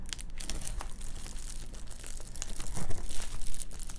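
Long nails scratch across a large metallized bubble-foil windshield sunshade lying flat on a table, raking over its crinkly quilted foil. The result is a dense, continuous crinkling and scratching with bright hiss over a low rumble, growing louder and more forceful toward the end.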